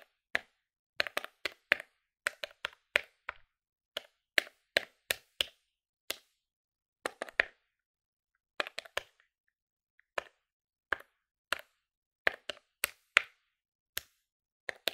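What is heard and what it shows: A plastic desktop electronic calculator is held in one hand close up while the fingertips of the other hand rapidly press its plastic keys. The result is a fast, irregular run of sharp, bright clicks with no ring, arriving in quick bursts separated by short pauses.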